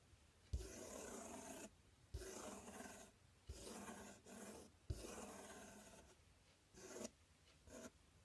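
Fingertips scratch and rub along the front panel of a large, empty, open corrugated cardboard box. Several broad, raspy strokes are heard, each opening with a low thump, followed by shorter, fainter scrapes near the end.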